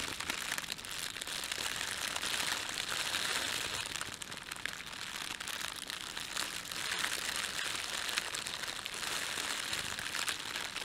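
Fingertips rub and gather the film of an empty, thin, red printed plastic bread bag, making a steady, dense crinkling and crackling. The sound is bright and papery with almost no low end, and it runs continuously without separate hits.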